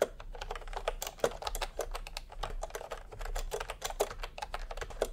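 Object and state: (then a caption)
Plastic keyboard typing. Bare fingertips of both hands type fast on a full-size pastel plastic retro keyboard with round plastic typewriter-style keycaps, resting on white fabric. A rapid, steady stream of short, clacky key presses is heard, with a mid-pitched hollow tone and a quick, dry decay over a faint low background hum.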